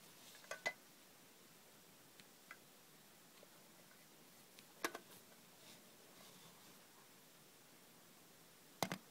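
Long red fingernails tap the lid and sides of a small, closed, hollow hinged aluminium Sucrets cough drop tin, probably holding lozenges, as it is handled and turned over. Nine sharp, bright metallic clicks come at irregular intervals, each dying away almost instantly against near silence.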